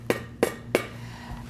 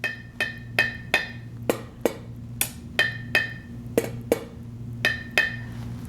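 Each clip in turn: First: Three quick spoon taps on a jar lid give dull, short clunks with no ring: the lid has not sealed. Second: Thirteen light taps on a metal jar lid give a clear, high musical ping: the lid has sealed.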